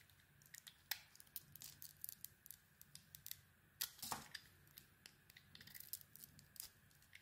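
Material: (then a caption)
Soap. A small metal blade carves shavings from a hand-sized solid black soap bar with embossed lettering and a white interior. The cuts make quiet, bright, crisp scraping clicks in a steady irregular stream, with two louder cuts near 1 and 4 seconds. A faint low hum sits underneath.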